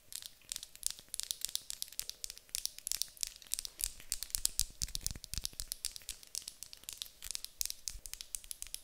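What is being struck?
Small wooden block.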